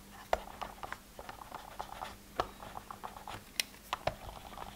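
A thin pen-like tool scratches and taps the labelled hinged lids of a hollow, multi-row translucent plastic weekly pill organizer. It makes a quiet run of dry scratching strokes broken by about fifteen sharp, hollow clicks. Each click is centred in the mid range near 680 Hz with bright edges and dies away almost instantly.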